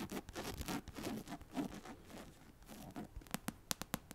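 Long acrylic nails scratch and tap the glossy card front cover of a medium paperback novel, *The Assassin's Blade*, a solid paper block held up close to the mic. Dense, papery scratching and rubbing comes first, then a quick run of sharp, separate, bright nail taps that cut off almost instantly.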